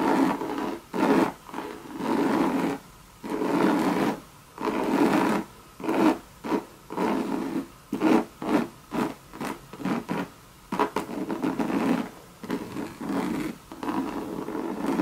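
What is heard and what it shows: Long red nails scratch a hollow Louis Vuitton monogram bucket bag made of coated canvas with leather trim. The result is a series of separate dry, raspy scratching strokes, each broken by a short pause, with a papery midrange body and little low end.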